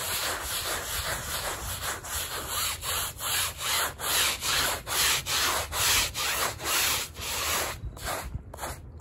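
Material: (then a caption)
Textile. A gloved hand scrubs a small, wet, muddy woven rug covered in swirled foam on a plastic sheet, working in circles with a handheld bristle brush. The result is a steady, rhythmic train of bright, hissy scratching strokes, each swelling and fading, that turn shorter and more broken near the end.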